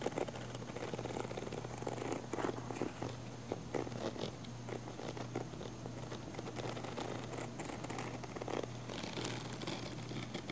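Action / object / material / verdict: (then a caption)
scrape / padded nylon fabric camera case / nylon fabric / none. Long nails scratch the surface of a small, hollow, black padded nylon fabric camera case with a yellow logo. The result is a steady, quiet run of dry, crinkly scratching and rustling strokes over a constant low hum.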